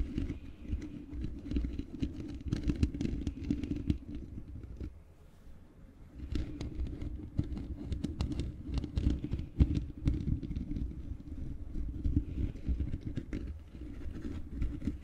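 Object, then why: Metal mesh microphone grille scratched with fingernails. Long painted fingernails of both hands scratch the bare black metal mesh grille of a large hollow microphone. The result is a dense, continuous stream of rapid scratches over a deep, boomy low rumble, briefly easing off into a quieter stretch around the five-to-six-second mark before picking back up.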